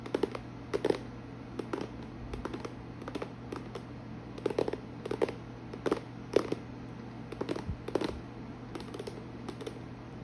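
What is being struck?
Clear plastic storage box.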